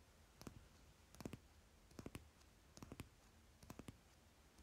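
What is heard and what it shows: Fingertips and nails rapidly tap the top card of a stack of paper playing cards lying on fabric. The result is five short bursts of quick, soft, dry clicks with a dull low thud and almost no ring, separated by quiet pauses.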